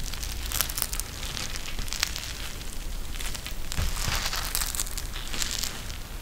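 A pink eye mask with a clear plastic shell filled with gel beads and fabric trim is held in both hands and squeezed and pressed by fingertips. The result is steady, dense crinkling and crackling with bright, sharp clicks over a low rumble, without pause for the whole clip.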